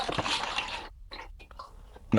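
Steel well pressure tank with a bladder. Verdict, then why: Waterlogged. A well pressure tank with a bladder is rocked, and water sloshes and gurgles inside where there should be air, ending in a louder splash near the end. The tank is waterlogged, likely from a small pinhole in the bladder, after it had earlier lost pressure.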